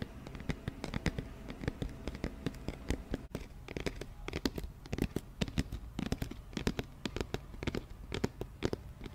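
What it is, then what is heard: Empty cardboard box, hollow. An empty, hollow, medium-sized round white cardboard flower box is held close and tapped on its side with fingertips and nails. A rapid, uneven stream of short, dull, hollow taps continues throughout, with low body resonance and crisp clicks from the nails, and there is a brief near-silent gap around three seconds in. Each tap dies away almost instantly, with no ringing.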